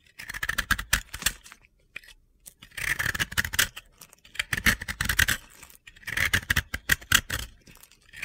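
A blue-yellow disc of pressed-powder bath bomb, held in the hand, is shaved with a utility-knife blade, scraping off gritty powder. Short bursts of dry, crunchy scratching with a bright, hissy edge come in three clusters separated by brief pauses.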